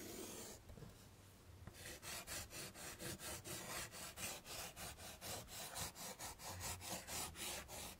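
Chalk moves across a wood-framed chalkboard, first in longer strokes drawing flower stems, then in dense scribbled grass strokes. A soft, bright scrape gives way to a quick, steady run of rasping, scratchy strokes, about two per second, each with a sharp high hiss.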